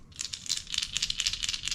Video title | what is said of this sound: This Topwater Lure Modification Will Double Your Catch Rate! | This one's pretty loud.